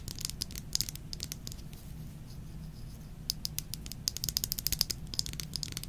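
A small Versace Bright Crystal perfume bottle of thick faceted glass, partly filled with liquid, is held in the hands and tapped with long nails. Bursts of quick, bright, high clicks are heard over a low steady hum, with a quieter stretch in the middle. The tapping grows denser and louder toward the end.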